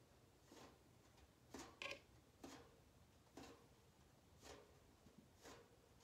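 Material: Metal.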